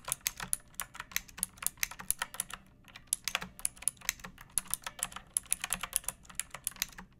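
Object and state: Plastic mechanical keyboard.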